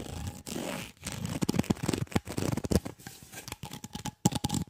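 A white, ribbed, hollow corrugated plastic tube is held in both hands while fingers scratch and bend its ridged surface. It makes a rapid run of dry, crackling rasps and scratchy clicks in uneven bursts, with a low, hollow body and brief pauses between strokes.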